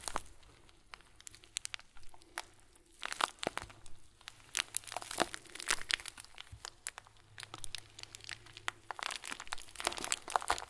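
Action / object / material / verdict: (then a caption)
scrape / plastic bag filled with small foam beads / plastic, foam / none. Hands squeeze a fist-sized, tied clear plastic bag full of tiny white foam beads, making the beads shift and crinkle. Dense bursts of bright, crackly crinkling come in uneven clusters with short quiet gaps, each sharp and dry with almost no ring. A faint low hum sits underneath.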